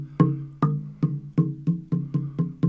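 The lowest slot of a wooden multi-tone slit drum, which has a crack that was repaired, is struck with a stick nine times in a steady rhythm. Each hit gives a dull, low, woody knock pitched around 170 Hz, with a faint overtone near 1 kHz. The cracked slot dies away quickly and does not ring as well as it should.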